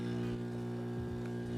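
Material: Nothing is struck.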